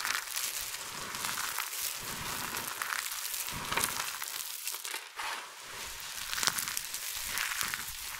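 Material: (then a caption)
Soap. Bare fingertips with long nails dig into a large heap of small, multicolored dry soap flakes and chips, scooping and squeezing handfuls. The result is a steady, bright crackling crunch of crushing and rubbing, with a brief lull about five seconds in.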